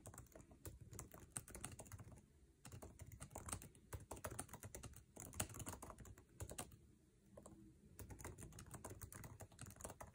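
Fingertips of both hands type fast on the backlit, low-profile scissor-switch keyboard with plastic keycaps of an aluminum MacBook Air resting on a table. Dense bursts of quick, dry key taps carry soft low thuds and bright clicks that die out almost instantly. The typing stops briefly twice, near 2.5 and 7.5 seconds, before resuming.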